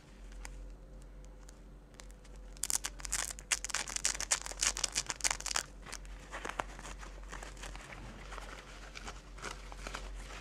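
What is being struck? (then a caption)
Hook-and-loop strap on a synthetic fabric jacket. Fingers with long dark nails peel a dark hook-and-loop strap open and closed on a thin, flexible pale yellow synthetic jacket, then handle and fold the fabric tab. A steady low hum runs under faint crinkles until a burst of rapid, bright ripping rasps from the velcro dominates the middle. The sound then settles back into softer rustling and crinkling of the fabric.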